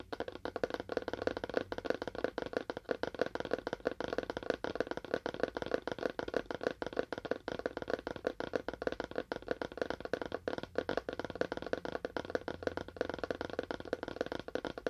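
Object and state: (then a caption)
Cardboard box tapped with fingernails. A small, hollow, rectangular cardboard phone box with a faux wood finish is held in both hands and tapped rapidly with fingernails. It gives a steady stream of quick, dry clicks with a hollow midrange tone around 490 Hz. Each tap dies away almost instantly.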